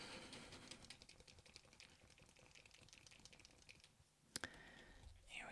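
An acrylic paint marker with a plastic barrel is shaken to mix the ink before its nib is shown, and the mixing ball inside the barrel rattles in a fast run of bright, light clicks. The rattling fades near the end, then two sharp, louder clicks follow. The rattle of the mixing ball is normal.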